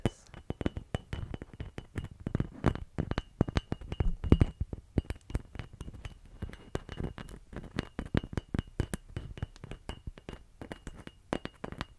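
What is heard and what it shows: A painted, glittery Christmas ornament that is shedding glitter is tapped in quick, uneven bursts for about twelve seconds. The taps are short, light and clinky, with almost no ring and most of their energy low in the range.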